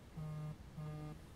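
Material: Nothing is struck.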